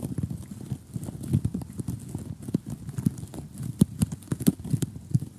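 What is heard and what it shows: Several short polished fingernails of both hands tap rapidly on a flat glossy cardboard jigsaw puzzle with a gap of loose pieces. The result is a quick, uneven run of dull, dry clicks with a soft low body, each dying away almost instantly, with a few sharper, brighter taps standing out.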